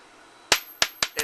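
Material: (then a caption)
Copper. A 1982 penny, from a year minted in both copper and zinc, is dropped for a bounce test and strikes a hard surface five times in quick succession. Each bounce gives a bright, high-pitched metallic ring that fades fast, and the last two bounces come close together. Because it rings, the penny is judged to be copper.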